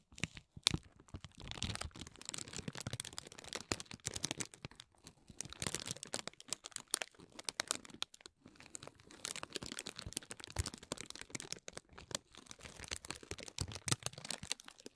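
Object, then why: Tissue-paper honeycomb ball. A small, hollow, green tissue-paper honeycomb half-ball lying on bubble wrap is pressed and scratched with fingertips and nails, with a pick used at the start. It gives a quiet, dense run of bright crinkling, crackling and tearing-like rustles in quick, dry bursts, with a brief pause just past the halfway point.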